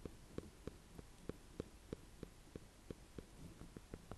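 Fingertips and painted nails tap and scratch the hard rind of a small, solid, green-and-cream speckled, ribbed ornamental gourd (a sweet dumpling squash) held in one hand above hay. A steady series of short, dry, hollow knocks, about one every two-thirds of a second, sits over a faint low hum and soft scratching.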